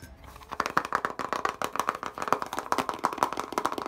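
Fingertips and nails quickly tap and scratch a small white plastic eyeshadow palette with six glitter pans, hitting both the case and the pans. The result is a rapid run of short, dry clicks and scrapes with a bright plastic tick around 1.2 kHz and almost no low end.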